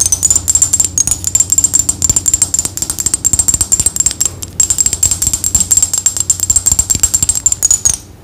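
A small clear glass perfume bottle with a black cap, partly filled with liquid, is held in one hand and tapped rapidly with long acrylic fingernails. The quick, bright clicks come in a steady stream with a brief pause midway, over a thin high ringing tone. Each tap dies away almost instantly.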